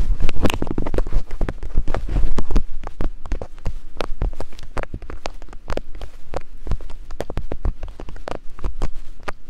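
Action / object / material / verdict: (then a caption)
tap / silicone binaural microphone ears tapped with thin wooden picks / silicone / none. Thin wooden picks held in both hands tap and scratch the soft silicone ears of a binaural microphone in climbing motions. A dense stream of quick, dull, low thumps with short scratchy brushes fills the clip, each tap dying away almost instantly. The first two and a half seconds are busier and louder before it settles into a steadier, slightly quieter patter.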